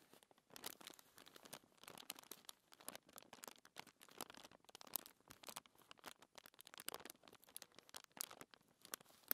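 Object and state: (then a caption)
Paper sheet scratched by fingernails. Fingertips with long nails scratch and rub across a flat, thin white paper sheet lying on a table. The result is a quiet, continuous stream of dry, crinkly scratching bursts, bright and papery with almost no low end.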